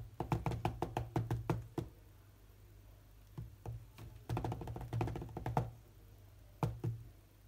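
Both hands tap quickly with their fingertips on the solid glass touchscreen of a large tablet lying flat and running a rhythm game. Rapid bursts of short, dull, low knocks with almost no ring come in three clusters separated by quiet pauses, over a faint steady low hum.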